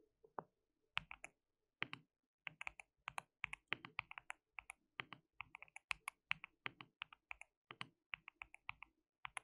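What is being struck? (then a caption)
Mechanical keyboard, plastic keycaps. Fingertips of both hands type continuously on a white mechanical keyboard with plastic keycaps. Quick, dry, bright clicks come in a steady run with short pauses, each keystroke dying away almost at once and centered around 2.6 kHz with very little low end.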